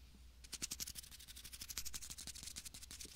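A small clear plastic bag filled with fine white sand is held beside a binaural mic and squeezed and crinkled with fingertips. After a brief quiet start, a rapid series of crisp, bright crinkles and gritty rustles follows over a faint low rumble.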